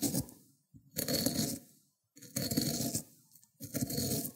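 The end of a cucumber is rubbed over the teeth of a white ceramic grater plate, spreading green wet pulp. Four rasping, wet scraping strokes are heard, each with a bright gritty edge over a fuller low body, separated by short pauses.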